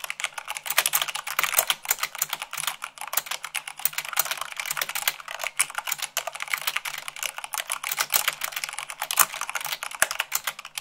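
Long pink nails and fingertips type fast, at about 98 words per minute, on a full-size mechanical keyboard with white plastic keycaps on a black frame. The result is a dense, steady stream of short, bright plastic clicks and clacks with almost no low end, each keystroke dying away instantly.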